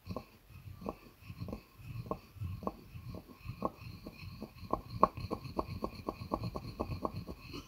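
A wooden pestle grinds and knocks inside a light, hollow wooden mortar. A steady run of short, dry knocks with a faint woody ring sounds over a low rumbling scrape between strikes, the taps quickening toward the end.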